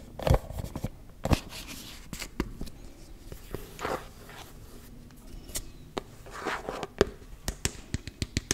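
Fingernails scratch and tap on the lid and ridged side of a closed, round, hand-sized body-butter tub, likely plastic. Soft, dry scraping rasps alternate with short, sharp clicks that die away instantly. A quicker run of crisp, separate taps comes near the end.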